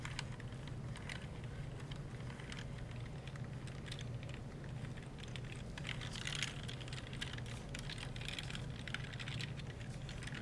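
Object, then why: Plastic computer keyboard keys. Gloved fingertips rub a wet wipe over the top rows of keys on a black plastic computer keyboard, making the hollow plastic keys click. Rapid, light clicks and soft rubbing run steadily throughout over a low, constant hum.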